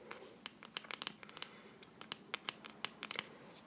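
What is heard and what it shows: A small, hollow, black printed NARS cardboard box, held in both hands, is scratched and tapped with long dark-painted fingernails. Sixteen quiet, bright, dry clicks and scratches stand out over a soft, grainy scraping, each ending at once with no ring.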